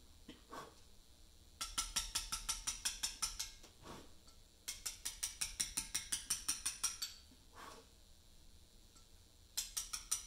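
A mallet drives a chisel into a large, solid Portland limestone memorial block, cutting letters in three bursts of rapid, evenly spaced taps. Each tap gives a bright, high, clicking ring that dies away almost at once. Short quiet pauses with faint, softer scrapes separate the bursts.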